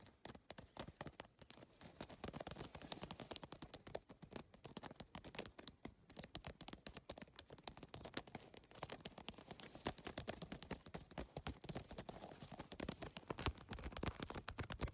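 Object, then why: Plastic geometric-tile handbag. Nails and fingertips tap rapidly on the plastic triangular tiles of a holographic geometric PVC-tile handbag, set on a mesh backing. The result is a dense, continuous stream of short, dry clicks and taps with almost no ring, spreading from low thumps up to bright ticks.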